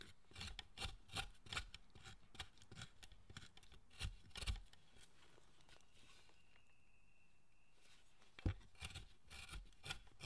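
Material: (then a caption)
Wood. A chisel held in the fist pares and scrapes a large, solid, carved wooden Buddhist statue of the guardian Zōchōten. Short, dry rasping strokes come in quick succession with low woody thumps. A quiet pause with a faint steady tone follows, then a sharp knock and more scraping strokes.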